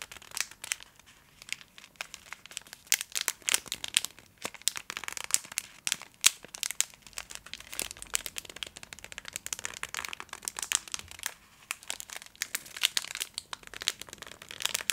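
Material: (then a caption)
Metallized plastic. A full, hand-sized Twix bar in a crinkly metallized plastic wrapper is held in both hands and scratched and squeezed with long acrylic nails. Dense, bright crinkling and crackling comes in rapid, uneven bursts with sharp spikes and very short decay, with almost no low end.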